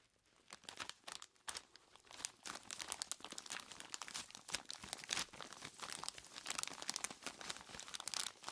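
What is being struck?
Plastic bag of ice cubes.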